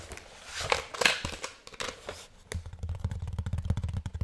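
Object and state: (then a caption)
Plastic keyboard underside. Fingertips scratch and tap the back casing of a hollow black plastic keyboard held upright close by. Soft, bright scratching swells come first, then a quick run of dull, hollow knocks with a low thud and almost no ring.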